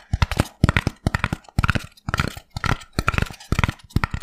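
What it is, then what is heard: Polystyrene foam block. Fingertips and nails rapidly tap and scratch the surface of a small white foam block, apparently expanded polystyrene, held in both hands. Quick bursts of dry, dull taps with a low thud mix with crackly, squeaky scratching. The clicks die away almost instantly between the bursts.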